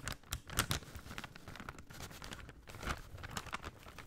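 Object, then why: Folded kraft paper bag. A folded brown kraft paper shopping bag is held in both hands and crinkled and rubbed with the fingers. It makes a steady, quiet stream of dry crackles and rustles, with bright crisp snaps over a soft low rustle and a few louder bursts.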